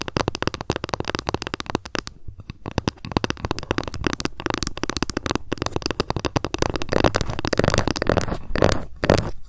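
A ruler is tapped rapidly, and at times scratched, with long fingernails. The result is a dense stream of dry, short clicking taps with almost no ring, growing louder and fuller toward the end.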